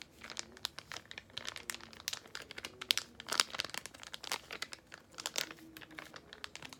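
A small yellow laminated foil-plastic face mask sachet is held edge-on and rubbed and crinkled between fingertips and long nails. The result is a steady stream of sharp, bright crinkles and crackles with little low end, each burst snapping off almost instantly.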